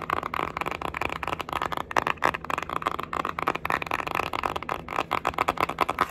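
A small, flat, pink printed cardboard Winky Lux eyeshadow palette, a hollow case held in the hands, is tapped and scratched with long acrylic nails. Rapid, dry, hollow clicking taps mixed with rough scratching sit mostly in the midrange around 1 kHz, with little low end. Each tap dies away almost instantly.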